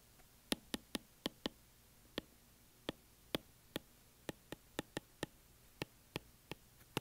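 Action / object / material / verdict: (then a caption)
tap / glass tablet touchscreen tapped with a plastic stylus tip / glass / none. The plastic tip of a white Apple Pencil, held in one hand, taps on the glass touchscreen of an iPad lying flat on a desk. Eighteen sharp, dry clicks come at irregular intervals, each bright and dying away almost instantly against a quiet background.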